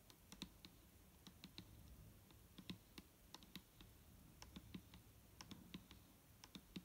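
A large, clear plastic micellar water bottle, full of liquid and standing on a table, is held in one hand while long nails tap its side. A steady run of quick, quiet, clicky taps is heard, each with a bright tick over a dull low knock that dies away almost at once, against a faint low background rumble.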